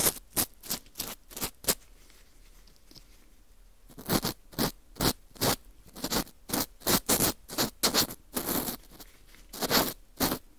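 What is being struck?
Dried wheat gluten ring scraped with a plastic scoop.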